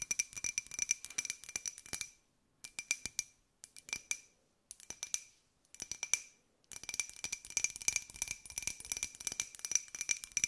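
A small, hollow, empty white ceramic jar with a pink and gold pineapple print is tilted sideways and tapped with long nails. Quick, bright clicking taps with a glassy ring near 2.4 kHz and a higher one come in six bursts separated by short silences. The last burst is the longest and densest.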